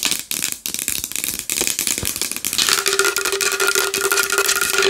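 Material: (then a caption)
Wood. A large wooden bowl is tapped fast and hard with long nails, making a dense stream of dry, bright clicking taps. Partway through, a steady low ringing tone rises under the tapping and continues to the end.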